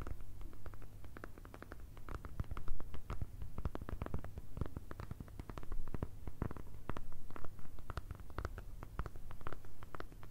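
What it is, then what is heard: Kraft paper envelope. A flat brown kraft paper or thin card envelope, held in both hands, is tapped and scratched with long red nails. Quick, dry papery taps and scratchy strokes overlap in a dense, uneven patter over a steady low hum.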